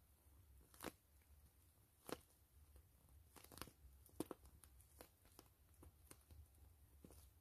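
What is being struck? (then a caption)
PVC plastic mesh pouch. Long fingernails scratch and tap the surface of a soft, hollow, clear-gray grid-mesh PVC zipper pouch with fabric trim. Faint, crinkly scratching runs beneath scattered, sharp, dry taps and crunches that stop dead with no ring. It all sits over a low, steady rumble.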